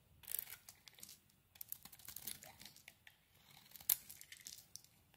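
A metal blade shaves the remaining dark coating off a green soap bar. The quiet, bright, crisp scraping comes in irregular bursts of rasping strokes, with one sharper, louder scrape near the end. The strokes are dry and dead-sounding with almost no low end.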